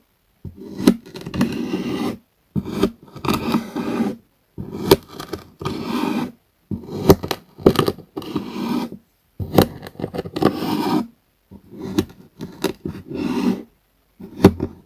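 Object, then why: Kinetic sand scraped with a metal spoon. A metal spoon scrapes and scoops through a flat patch of blue kinetic sand on a wooden board, dragging through it. The result is repeated bursts of soft, gritty scraping with sharp clicks and short silences in between, mostly low-mid in tone.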